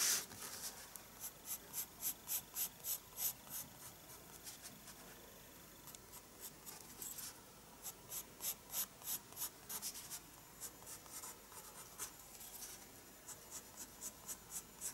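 A pencil scratches quick strokes across a page of a spiral-bound paper sketchbook held flat by one hand. The sound is a quiet series of short, bright, dry scratching bursts in uneven rhythm, with brief pauses between runs of strokes and almost no low end.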